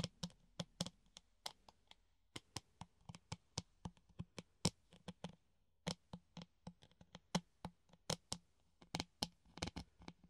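A hollow clear plastic funnel, held in both hands, is tapped with the nails on its rim and cone. About thirty quick, dry clicking taps come in an uneven rhythm with short pauses. Each tap has a bright edge over a hollow low body near 170 Hz and dies away at once with no ring.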